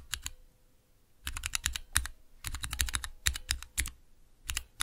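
Fingertips press and tap clear plastic keycaps on Cherry MX switches in a small 3x3 switch tester with a clear plastic base, resting on dark velvet. Quick bursts of sharp, bright plastic clacks with a low thocky bottom come in clusters separated by short quiet pauses. Each click stops dead with no ring.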